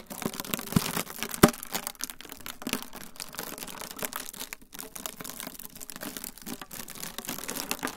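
A rolled tube of clear plastic wrap film, held in both hands beside the recorder, is twisted and squeezed. It makes a steady stream of dense, bright crinkling and crackling, with one sharper snap early on, and stays soft and continuous throughout.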